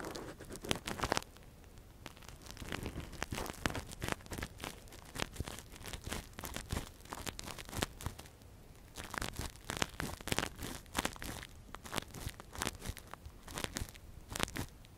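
A gloved hand scratches and probes inside the canal of a hand-sized, hollow, soft translucent silicone ear model used as a binaural microphone cover, using a thin metal earpick. Dense, close crackling scrapes and crinkly rustles come in quick irregular bursts with short brighter spikes. There is no ringing, just a steady stream of tiny crunchy contacts.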